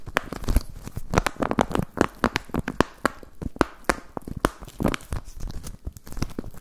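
Fingertips crinkle and rub an empty, clear plastic zip pouch with a ring tab. Quick, dry crackles and crinkles come in a dense, irregular stream of short bursts, with a soft low rustle between them.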